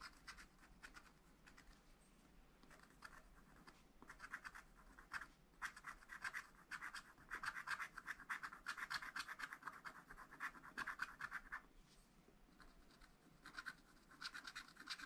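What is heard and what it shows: A wooden stylus scratches across a flat, black wax-coated scratch-art paper pad while a brush lies untouched beside it. Quiet, dry, rasping strokes come in quick, uneven bursts, with a papery scrape centered in the upper midrange and bright hiss on top. The scratching grows denser and louder through the middle, eases off briefly near the end, then picks up again.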